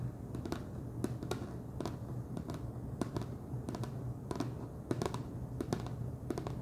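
Fingernails tap the top and ridged edge of a wide orange plastic screw lid on a large clear plastic jar full of Chester's Cheddar Paws cheese puffs. A quick, irregular run of short, dry plastic clicks and taps dies away almost instantly. They sit over a steady low hum.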